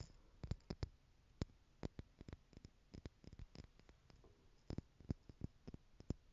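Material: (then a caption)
Plastic. Long nails tap the lid and sides of a small clear plastic stackable jar tower, partly filled with loose gold glitter or jewels, as it is tilted and shaken close to the mic. The result is a quiet, irregular run of short, dry plastic clicks with almost no ring. A faint rustle of the loose contents sits between the taps.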